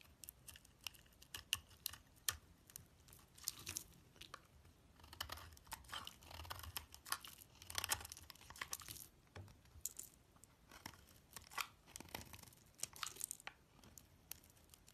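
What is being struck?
Soap bar cut with a knife blade.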